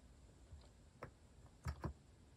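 Fingertips type on a compact white-cased plastic mechanical keyboard with cat-themed plastic keycaps, giving short, dull, low clacks. Three clear keystrokes stand out, near 1.0, 1.7 and 1.85 seconds, with fainter taps between them. The clip is quiet with almost no ring.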